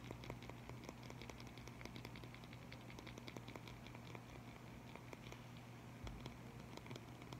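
A black plastic liquid chalk marker with a red cap, about 15 cm long, hollow and filled with liquid paint, is held in the fingers and shaken and handled. Quiet, rapid clicks and rattles patter on steadily over a low, constant hum.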